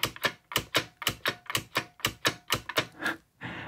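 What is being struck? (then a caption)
Plastic mechanical keyboard. Fingertips of one hand repeatedly press the bottom-row keys and space bar of a full-size beige IBM Model M plastic mechanical keyboard with plastic keycaps. Fourteen sharp, bright, typewriter-like clicks land in a fairly steady rhythm, each ringing out almost instantly. A softer, steady rustling noise follows at the very end.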